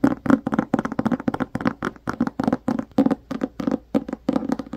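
Fingertips tap and scratch the cover and edge of a black hardcover book in a quick, uneven run of short, dry taps. Each tap has a soft low-mid body with a bright, papery scratch on top, and almost no ring between strokes.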